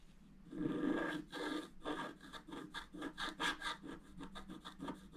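A wooden stylus scratches quick back-and-forth strokes on the central column of a flat, black-coated scratch art paper card. A longer opening rasp gives way to a rapid series of short, dry scraping strokes with a bright, papery grit.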